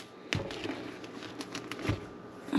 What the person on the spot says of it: you can tap it too you know it's Hollow